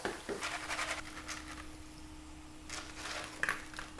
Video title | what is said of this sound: BEST Korean Street Food GIMMARI (김말이) | you can just hear how crispy they are